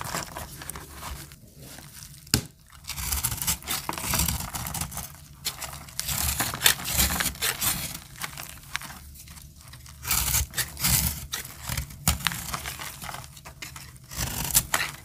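A utility-knife blade scrapes and cuts a solid bar of dry, peach-colored soap held in the hand. Bright, crisp crunching and scraping come in uneven bursts with brief quiet gaps.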